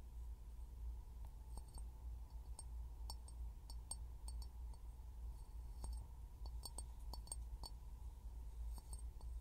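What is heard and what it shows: A clear glass bottle is tapped again and again, giving short, bright clinks at an uneven pace over a steady low hum. Each tap rings only briefly.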